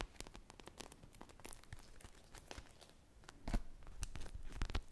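Long painted nails scratch a hand-sized solid polyurethane foam squishy shaped like an ice-cream pop on a stick, with a teal-and-white glaze and sprinkles, and both hands squeeze it. Quick, dry, crackly scratches and soft crinkling tears come in dense bursts of short, sharp ticks that reach up bright. The sound stays quiet and close, then grows louder and busier toward the end.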